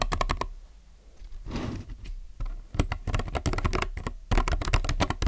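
Fingertips type on a plastic mechanical keyboard with white and colored plastic keycaps sitting on a desk. Bursts of sharp, bright key clacks come in quick, uneven runs over a low, steady hum, with a softer, breathy noise in a short pause between bursts.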